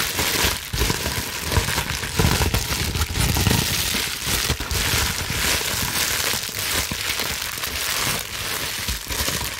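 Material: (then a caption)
Plastic. A clear plastic bubble wrap sheet is gathered in both fists and scrunched and crumpled by hand with long nails. It makes a dense, continuous crinkling and crackling, bright and hissy, with a soft low rustle underneath. The level stays steady throughout, with no clear pauses.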